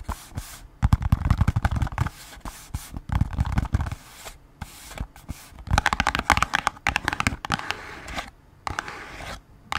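A small, hollow, printed cardboard Band-Aid box is held in the hands and scratched and tapped with long acrylic nails. Bursts of quick, dry clicks and scratches carry a hollow low thump and some bright crackle. The bursts are separated by brief quiet gaps, and each tap dies away almost at once.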